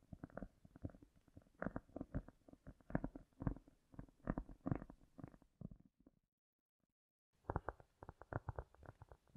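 A piece of cork is tapped and lightly scratched with long nails, with a heavy echo effect applied. Soft, dull taps and scratchy strokes come in quick, uneven bursts, mostly low in pitch and quiet. The sound stops for about a second near the six-second mark, then the tapping resumes.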